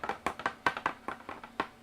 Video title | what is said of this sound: [3dPrinting] Padding it out! Straps foam and Paint! This is the way! PART 2 [PNGTuber] | sounds plastic so if I put a piece of foam in there you won't hear it